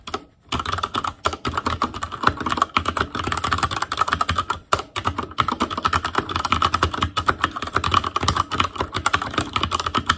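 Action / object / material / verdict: tap / mechanical keyboard with plastic keycaps on a metal frame / plastic / none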